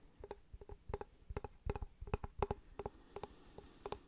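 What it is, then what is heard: Wooden block. Fingertips and nails tap and scratch the face of a solid, light-coloured rectangular block of wood or fibreboard held in one hand. About fifteen short, dry, quiet taps land in an uneven rhythm, each with a hollow knock around 400 Hz and a quick click, dying away almost at once.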